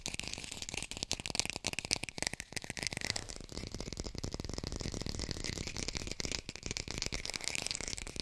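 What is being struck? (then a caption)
Artificial plastic lemon. A small, hollow-looking plastic fake lemon, held in one hand, is fast-tapped and scratched with long pink acrylic nails. It gives a steady, rapid stream of dry, crisp clicks and scratchy rasps with a bright, hissy top and no ringing tail.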